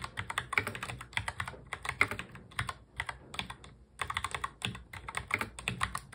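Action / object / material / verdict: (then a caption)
tap / plastic mechanical keyboard / plastic / none. Fast touch typing by the fingertips of both hands on a full-size black plastic mechanical keyboard produces rapid, bright, clacky keystrokes with very short decay. The clicks come in quick bursts, with a brief pause just before the four-second mark before the typing resumes.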